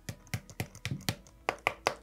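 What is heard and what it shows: Tapping on the back of a Begadi BSR spring airsoft rifle's plastic-composite stock gives a quick series of short, dry knocks. Each knock has a low thump and a bright click, and it dies away almost at once. The stock sounds solid, as if full of material, with no hollow cavity heard, a sign of its very solid build.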